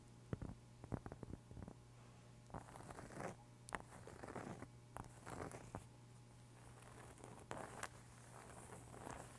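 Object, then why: Round cork board or trivet. A large, thin, solid round cork board or trivet is held in both hands and scratched and tapped with long pink acrylic nails close to the microphone. Quick, dry taps stand out over softer, grainy scratching bursts, all at a quiet level with a steady low hum underneath.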